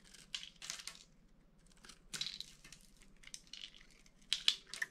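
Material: Soap.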